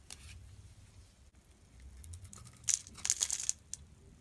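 A blade carves flakes from a solid Absolut soap bar with a purple surface over a blue inside. Soft, bright scraping gives way to about six crisp, high crackling cuts near the end.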